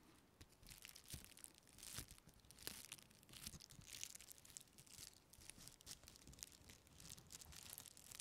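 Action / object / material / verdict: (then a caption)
scrape / thin clear plastic packaging strip / plastic / none. A thin, textured clear plastic packaging strip, light and flexible, is crinkled, bent and scratched with long painted fingernails close to the microphone. The result is a dense run of bright crackles and sharp scratching ticks, with occasional louder snaps, all at a quiet level.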